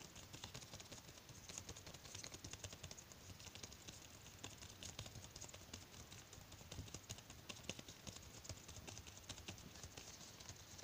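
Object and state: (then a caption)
Latex glove. Bare fingertips quickly tap and rub the surface of a thin white latex glove worn loosely on one hand and held close, with plastic bead bracelets on the gloved wrist possibly adding faint rattles. The result is a quiet, steady stream of soft, crisp taps and rubbery rustles with a bright, hissy edge and a low soft thump beneath.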